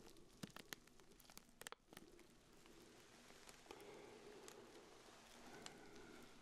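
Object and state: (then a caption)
Plastic-wrapped urinal cake. Black-gloved fingertips rub and crinkle the clear plastic wrap around a small round pink urinal deodorizer cake. Sharp, bright crackles and snaps come in the first two seconds, then settle into a steadier, softer rustling crinkle.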